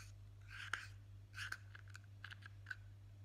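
A single fingertip with a short nail taps and scratches the flat top of a blue plastic Nivea jar lid. About seven short, dry clicks land among soft scratching swishes, each with a hollow tone around 1.6 kHz and bright edges that die away almost instantly. A steady low hum sits underneath throughout.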